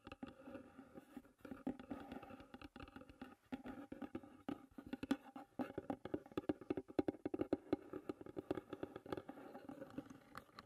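Long red nails drum and tap on the white painted lid of a closed, hollow wooden tea box. Quiet, rapid taps and clicks come in uneven bursts throughout, each dying away almost instantly. They carry a hollow wooden tone centered around 300 Hz.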